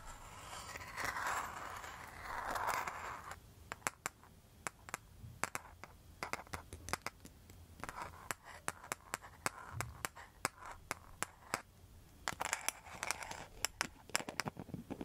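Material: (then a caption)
Rattan. Long metal nail tips scratch the back and front of a round rattan and mosaic coaster. A few seconds of dense, continuous scraping give way to a rapid series of sharp, bright clicks and short scratches with no ring. Faint low hum runs underneath.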